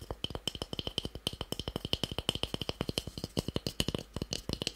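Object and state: Small solid wooden cube.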